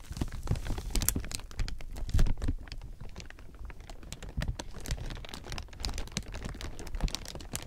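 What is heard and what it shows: A large heap of thin, clear plastic sheeting is rubbed and crumpled by hand, producing a continuous stream of dense, crackling crinkles. Short, sharp snaps flash up into the bright highs over a heavy low-end rumble of handling. The loudness rises and falls as the film is squeezed and shifted, peaking in a louder crunch around two seconds in.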